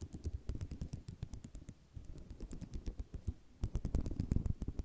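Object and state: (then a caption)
Ceramic mosaic tile sheet. Fingernails drag across the rows of a flat sheet of small white square ceramic mosaic tiles resting on cloth, producing a rapid series of short, dry clicking rattles and scratches. The clicks are dense and low-weighted with bright ticks on top. There is a brief lull near the two-second mark, and the rattling grows louder and busier in the final second and a half.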